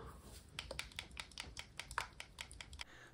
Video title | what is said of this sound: Painting a HYDRA in True Metallic Metal (TMM)! | when you shake it you hear this little clicking sound